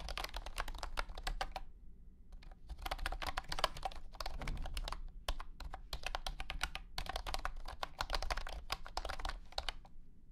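Fingertips type on a compact white and blue plastic wireless keyboard with round hexagonal, honeycomb-style keycaps and a hollow body. Rapid, bright, short clacks come in bursts separated by brief pauses. Each keystroke dies away almost instantly over a steady low, hollow rumble.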